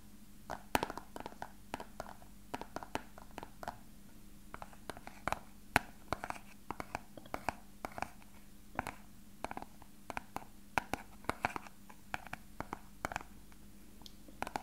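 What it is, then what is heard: Clear plastic box. A small, hollow, translucent rectangular plastic box is held in the hand and tapped and scratched with fingertips and short nails. The result is a quiet, irregular run of many short, dry clicks and taps with a hollow ring around 700 Hz, mixed with soft scratching over a faint steady low hum.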